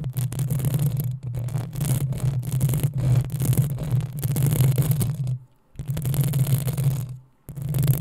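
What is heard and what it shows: Long acrylic nails of both hands scratch the hollow metal mesh head of a black desktop USB microphone. The result is a dense, continuous scratching with a heavy low rumble and a faint bright hiss on top. It breaks into two short silences near the end before resuming.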